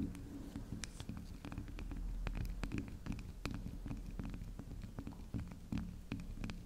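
A small, round pink spiral of solid soft soap rests on a table while long acrylic nails tap and scratch its spiral top. Quick, soft clicks with bright edges land in an irregular patter over a low, steady rumble.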